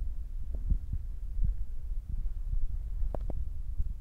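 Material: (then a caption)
Foam. Fingertips with short nails tap on top of a black foam windscreen on a Zoom recorder. The taps come through as soft, muffled, low thumps over a steady low rumble, with a couple of sharper, brighter taps near the end.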